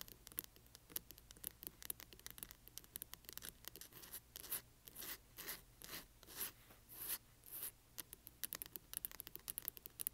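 Long nails of both hands scratch the spine and page edges of a large hardcover book with a paper dust jacket, lying flat with its spine facing out. The result is quiet, bright, papery scratching and quick ticking taps, with longer swelling scrapes through the middle of the clip.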